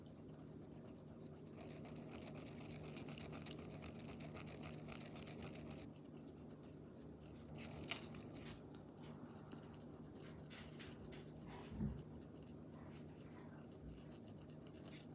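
The metal tip of a pink gel pen dots and scratches the surface of a smooth, palm-sized solid river stone painted white with a black mandala, resting on bubble wrap. Quiet, brushy scratching runs in long bursts over a steady low hum, with a few sharper, brighter taps standing out near the middle and later in the clip.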